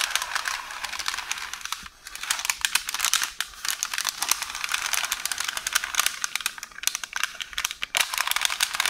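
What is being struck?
Roll of baking paper.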